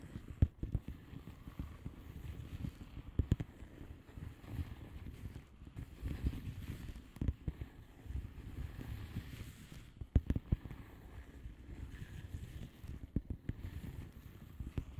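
Long polished nails of both hands tap and scratch the plastic bubble wrap surface of a flat padded envelope. Soft, muffled, dull taps land irregularly over a continuous low scratching rustle, with a few sharper clicks standing out. The sound stays quiet and dark throughout, with almost no high end.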